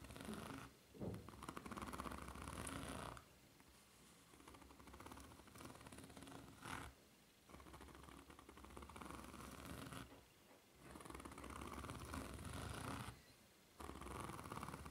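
Long red-painted nails scratch and tap across the solid ridged sole of a white foam-rubber flip-flop, held upside down, with red dots on the sole. Dense, rasping scratching runs in long bursts, centered around 1 kHz with a faint bright hiss above. The bursts alternate with quieter, softer stretches and brief near-silent pauses.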